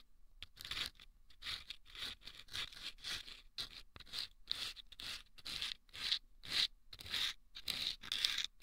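Wooden toothpicks scrape the sandpaper inside two small hollow rolled sandpaper tubes placed over microphone ears. The result is a steady run of short, bright, gritty scratching strokes, about two per second and unevenly timed, with quiet gaps in between and almost no low end.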